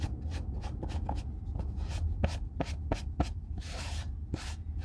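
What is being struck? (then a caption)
Leather boot and cotton cloth. A white cotton cloth wipes and rubs a hollow brown leather Red Wing Weekender Chukka boot, held in one hand, during re-oiling. Quick, soft, papery swishes repeat over a steady low rumble, each stroke brief and bright-edged with almost no ring.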